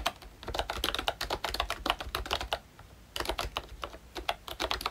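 Fingertips type rapidly on a full-size ROYCHE Disney Mickey Mouse retro membrane keyboard with a pink plastic case, a hollow body and round black plastic keycaps. The result is a steady run of short, dry, bright plastic clacks with a hollow mid-toned knock. The typing pauses for about half a second near the middle before resuming.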